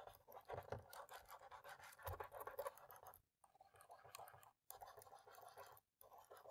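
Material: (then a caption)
Plastic. A cotton swab, held in the fingertips, scrubs along the gaps between the black plastic keys in the top row of a dirty laptop keyboard. It makes a dense, scratchy rubbing sound centered in the midrange, broken by three brief silences as the swab lifts and moves to a new spot.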